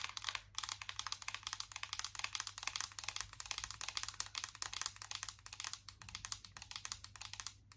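Long acrylic nails tap quickly and continuously on a closed, embossed metal tin eyeshadow palette. The result is a dense stream of bright, crisp clicks that stop almost instantly, with a faint steady low hum underneath.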